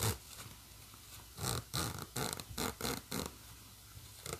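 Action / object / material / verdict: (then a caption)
scrape / nylon bag with plastic coil zipper / nylon, plastic / none. Fingers pull the metal slider along the black plastic coil zipper of a hollow green nylon bag, while long nails scratch at the zipper edge and the fabric. A series of short, bright, raspy zip strokes comes in quick bursts, separated by quiet gaps.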